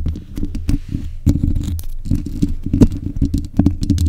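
Long nails on both hands scratch around the sides of the hollow mesh grille of a black metal desk microphone. The result is a dense, continuous run of rough, bassy scraping and patter, with most of the energy low and a faint bright hiss above.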